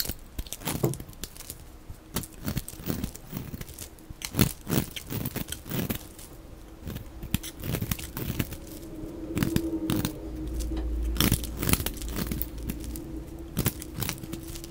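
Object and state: Glycerin soap bar being shaved with a blade.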